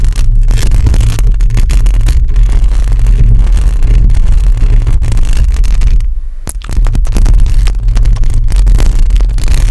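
Long acrylic nails on both hands scratch a hollow metal mesh microphone grille. The result is a dense, continuous scraping rumble, almost entirely low and boomy, with a deep hum near 105 Hz. It pauses briefly for a softer moment around six seconds before resuming at full loudness.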